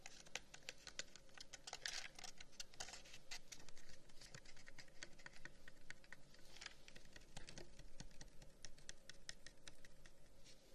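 A long, hollow carved wooden incense box, about 30 cm, with flower cutouts and brass inlays, is held in the hands and tapped and scratched with the fingertips and nails. A quiet, steady stream of quick, dry, bright clicks and ticks mixes with soft scratching. Each tap dies away almost at once, with little ring.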